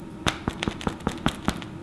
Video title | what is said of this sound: Kitchen Fundamentals Episode 1: A Loaf of Bread | if it sounds Hollow that means that it's done